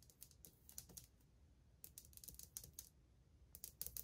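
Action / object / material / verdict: tap / glazed ceramic wall tile / ceramic / none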